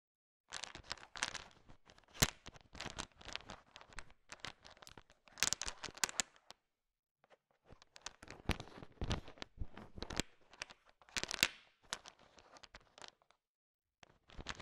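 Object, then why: Sugar-shelled peanut candies in a bowl. A heap of small, hard sugar-shelled peanut M&Ms fills a bowl and is stirred and tapped with a thin wooden stick. Quiet, bright clicking and crunchy rattling come in dense bursts, with brief pauses around 6.5 to 7.5 seconds and 13.5 to 14 seconds.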